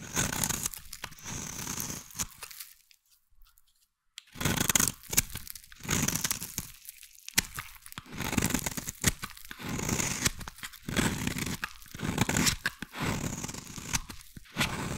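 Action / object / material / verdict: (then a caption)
scrape / glycerin bar soap scraped with a metal blade / glycerin soap / none. A metal blade scrapes a solid, translucent yellow, hand-sized glycerin bar soap into fine shavings. Repeated crunchy, tearing strokes carry a bright, hissing edge, with a short silent pause near the start of the clip.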